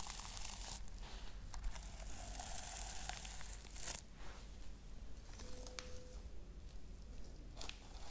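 A flat pink and silver reversible-sequin pouch of soft fabric is rubbed and brushed with the fingertips and long red nails, flipping the sequins. The sound is a quiet, continuous crinkly rustle with bright scratchy swishes and occasional sharper sweeps over a low, steady rumble.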